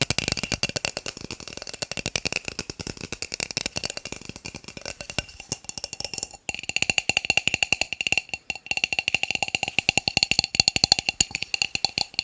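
Plastic cups are tapped rapidly with fingertips, producing a dense stream of short, hollow, wood-block-like clicks that are bright and high with almost no low end. Each click dies away almost instantly, and the fast tapping pauses briefly around the middle before continuing at a steady pace.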